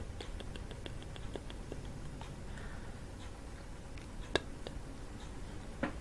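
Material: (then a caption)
Wood. A long orange false nail taps the flat, dot-painted wooden soundboard beside the metal tines of a hand-sized hollow kalimba made from a half coconut shell. The taps are quiet, dry, light clicks in an irregular patter over a low, steady rumble, with two sharper, louder ticks near the end. Each tap dies away at once, with no ringing from the tines.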